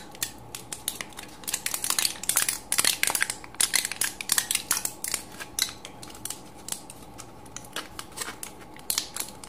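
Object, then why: Aluminium foil pill blister pack. An empty aluminium foil pill blister strip with crumpled cavities is squeezed and crushed between thumb and fingertips. The result is a rapid run of sharp, bright crinkling crackles. The crackles come in dense clusters with brief quieter gaps and almost no low end.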